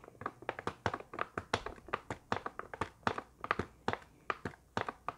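Long painted nails tap and scratch a hand-sized, rectangular printed cardboard box labeled 375 cotton swabs, held in both hands and squeezed lightly; the hollow box appears full. A quick, uneven run of dry, hollow taps with a midrange knock around 900 Hz dies away almost instantly, with faint scratchy sounds between the taps.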